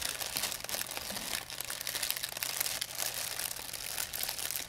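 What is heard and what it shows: A thin, empty white plastic pharmacy bag is crumpled between fingers with long painted nails. It makes a steady, dense, bright crinkling with quick crackles over about five seconds and almost no low end.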